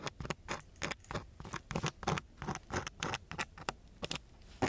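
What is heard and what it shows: A gloved hand holds a thin wooden stick and scratches it across a coarse brown sandpaper sheet. A rapid, irregular series of short, gritty, bright scratching strokes is heard, each dying away almost at once, with quiet gaps between them.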